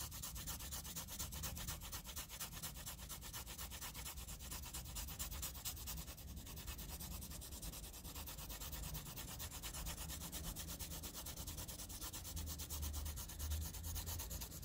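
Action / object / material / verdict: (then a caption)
scrape / graphite pencil on a paper sheet / paper / none. A wooden pencil rubs over a flat sheet of squared graph paper with thick shading in fast scribbles. The result is a steady, dense stream of rapid scratchy strokes with a bright hiss on top and a low rumble underneath, holding an even level throughout.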